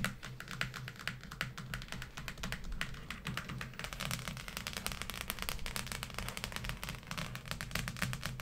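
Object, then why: Cloth-covered hardcover book. Long painted acrylic nails on both hands tap and scratch across the front of a large, thick, solid closed hardcover law dictionary with a maroon textured cloth/leatherette cover, lying flat on a table. The result is a rapid, dense stream of short, bright, typing-like clicks and scratchy strokes over a steady low hum, continuing evenly throughout.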